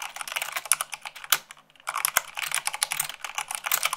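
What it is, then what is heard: Plastic mechanical keyboard. Fingertips and long nails type fast, around 98 words per minute, on white plastic keycaps of a black mechanical keyboard. A dense run of bright, sharp clicks and clacks stops briefly just before the two-second mark, then the rapid typing resumes to the end.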